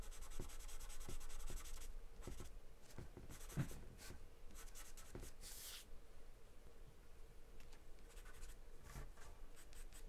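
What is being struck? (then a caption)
Graphite pencil on a paper drawing sheet. A graphite or charcoal pencil held in the hand scribbles and scratches across a large white paper sheet taped flat to a dark surface, shading as it goes. Quiet, dry scratching strokes come in quick, irregular bursts, with a bright hiss on the harder strokes over a steady low background hum.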